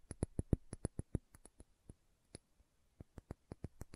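A small dark green glass serum bottle with a dropper cap is tapped and scratched by long nails. About twenty quick, dry taps sound, each a low thump with a bright click on top, in an uneven rhythm that pauses briefly just before the three-second mark and then resumes. The sound is soft and closely heard, with no ringing after each tap.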